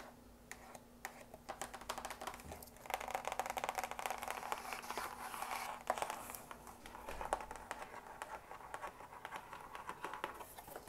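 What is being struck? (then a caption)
Long narrow cardboard box. A long, narrow printed cardboard box for a drapery rod, lying hollow on a table with unclear contents, is tapped and scratched with long acrylic nails. Quick, dry clicking taps mix with rough scratching and crinkly scraping, each sound short with almost no ring. There is a faint steady low hum under the first seven seconds.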